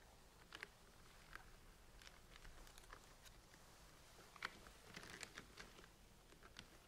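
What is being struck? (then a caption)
Plastic centrifuge tubes with caps. Long painted nails tap and scratch the blue caps and sides of plastic centrifuge tubes standing in a rack. Quiet, sharp plastic ticks and brief bright scrapes come in irregular bursts over a faint low background hum, each click dying away almost at once.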